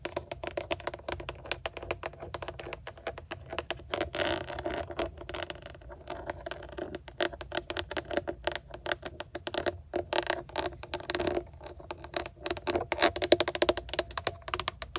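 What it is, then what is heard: Plastic steering wheel airbag cover tapped with nails. Long acrylic nails tap rapidly on the chrome-look trim ring and emblem of a GMC steering wheel centre, a hard plastic hollow airbag cover. The result is a dense, irregular stream of short, sharp clicks and light scratches with almost no ring.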